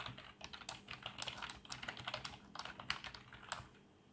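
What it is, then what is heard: Plastic membrane keyboard. Fingertips of both hands type quickly on a black plastic membrane keyboard with RGB backlight. Soft, rapid key clacks form a steady, bright patter with short, dry decays centered around 2 kHz. The typing fades to quiet in the last half second.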